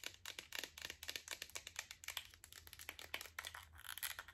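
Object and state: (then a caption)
Plastic supplement bottle. Long acrylic nails tap the yellow cap and green plastic body of a Spring Valley iron pill bottle in a quick, uneven run of about 27 sharp clicks. Each tap is bright and dry, centered near 3.2 kHz, and dies away almost instantly over a faint low hum.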